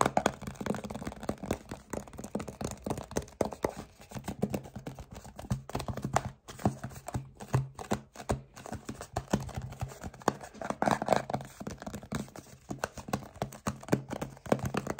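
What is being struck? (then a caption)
Plastic lotion bottle. Fingertips and short nails of both hands tap quickly on a medium-size hollow plastic Aveeno Eczema Therapy moisturizing cream bottle that appears filled with cream. The result is a rapid, dense stream of dull, soft clicks and knocks with very little ring, full in the low-mids and lacking brightness, continuing for about fifteen seconds with brief pauses.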